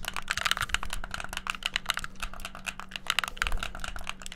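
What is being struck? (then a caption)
Plastic game controller. The buttons and shoulder triggers of a hollow white plastic gamepad are clicked rapidly with fingertips, giving a dense, uneven stream of sharp plastic clicks for about four seconds. The clicks are bright and dry with no ring, and a faint steady low hum sits underneath.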